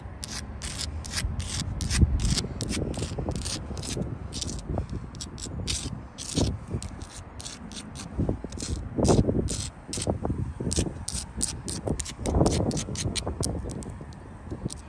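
Long nails scratch and rub across the gritty surface and edges of solid rough sandstone blocks in a wall. Quick, bright scraping strokes repeat throughout over a low, rumbling rubbing texture, with louder bursts of friction coming and going.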